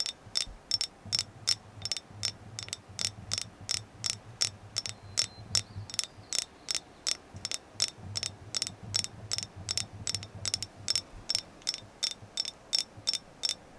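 A carved agate moon goddess figure is tapped about 41 times in a steady rhythm of roughly three taps per second. Each tap is a short, bright click with a high, glassy ping that dies away almost at once, over a faint low hum.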